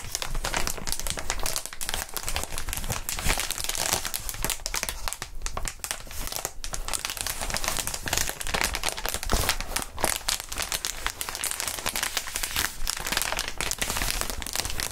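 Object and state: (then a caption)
Plastic air-column packaging being crinkled. Clear plastic inflatable air-column packaging with hollow tubes is held up and squeezed and crinkled by gloved hands with bare fingertips. A dense, continuous run of crisp crinkling and crackling fills the clip, with bright plastic rustle over a low, soft thump as the tubes are pressed.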